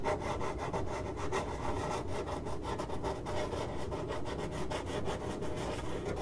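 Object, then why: Corrugated cardboard box. The hollow side of a printed corrugated cardboard box is scratched with long acrylic nails. It makes a continuous dry, rasping scrape with quick strokes blurring together, carrying a dull hollow body and little high brightness.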